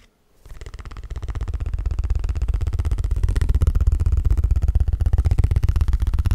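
A small, flat, thin cardstock Pokémon trading card is held in both hands and tapped rapidly with the fingertips. After a brief silence, a fast, steady stream of soft, dull taps begins, heavy in the low end. The tapping grows louder and keeps a regular rhythm to the end.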